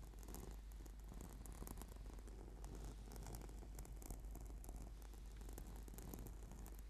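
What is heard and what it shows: Fingernails scratch and fingertips tap rapidly on a flat, purple, sticky PVC/foam yoga mat. The result is a quiet, steady, low, rumbling rustle with a soft purr-like texture and faint bright crackles scattered throughout.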